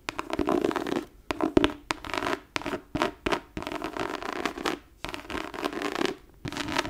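Long nails scratch the embossed, tooled leather top cover of a thick leather-covered book lying flat on a desk, its page block visible. Dry, rasping scratches come in uneven bursts with brief pauses, centered in the midrange with sharp, bright clicks and almost no low end.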